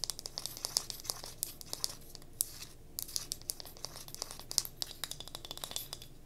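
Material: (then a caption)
Pine wood. Long fingernails scratch quickly along the grain of a solid striped pine wood cube tealight holder held in the hand. The result is a dense run of short, crisp, high-pitched scratches and clicks that stop dry, with no ring after them.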